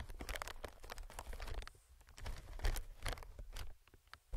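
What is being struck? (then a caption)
Inflated plastic-film air cushion. Fingertips tap and scratch an inflated clear plastic-film air cushion, making soft, low, hollow thumps mixed with quick crinkly, bright scratching bursts. The irregular patter continues throughout, with brief quieter pauses between clusters of taps.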